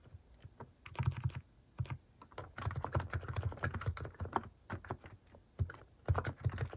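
Plastic cat-themed keycaps on a mechanical keyboard are pressed by fingertips in continuous typing. Rapid, dry clicks and clacks with a deep, thocky low end come in bursts with short pauses between them. Each keystroke dies away almost instantly.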